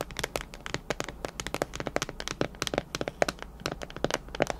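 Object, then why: Plastic food storage container with clip lid. Long nails tap the walls and clip lid of a clear plastic storage container partly filled with macarons. A rapid run of about 25 sharp, bright clicks and taps sounds with little ring.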